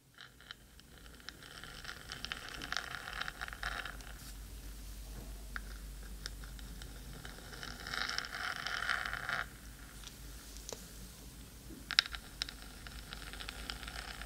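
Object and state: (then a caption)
Metal microphone body being scratched. Long pointed acrylic nails of both hands scratch the hollow black metal central body of a 3Dio binaural microphone. The result is a dense, irregular rustling scrape with bright, gritty texture over a steady low hum, swelling louder from about 8 to 9.5 seconds, with a sharp click near 12 seconds.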